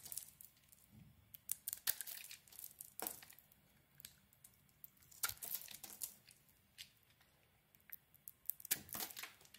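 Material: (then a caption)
Soap. A metal blade shaves thin flakes from a hand-held, solid rounded soap bar with a white core and a pink and grey coated outside. Quiet, irregular scraping cuts give crisp, bright crackles and short tearing rasps with almost no low end.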